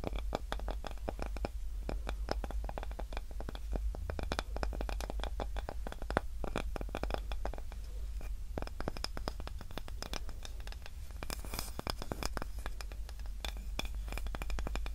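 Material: Wood.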